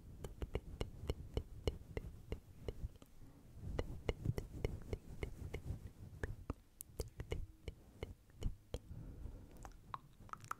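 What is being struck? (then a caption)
Synthetic fur microphone windscreen. Long blue acrylic nails scratch and rake through a fist-sized, fluffy grey-white synthetic fur windscreen covering a hollow microphone body, using both hands. A steady run of short, crisp ticks and scrapes sits over a soft, muffled low rumble. The rubbing fur keeps the sound dull and close, with brief bright clicks that die away instantly.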